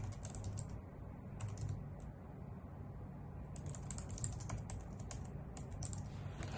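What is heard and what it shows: Long nails tap rapidly on the keys of a full-size white plastic computer keyboard resting on a wooden desk, beside an untouched laptop. Bright, short clicks come in quick flurries, thinning out briefly in the middle, over a steady low hum.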